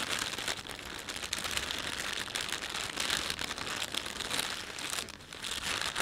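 A thin, empty panda-print plastic shopping bag is pinched, rubbed and crinkled between fingertips. The result is a steady, bright, dense crackling rustle that rises and dips without pause for the whole clip.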